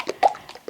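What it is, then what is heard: Pour paint at the right consistency. A container of acrylic pour paint thinned with Floetrol and water is shaken, giving five short liquid sloshes with a medium tone around 800 Hz. The medium tone means the paint has the right consistency, neither too thick nor too thin.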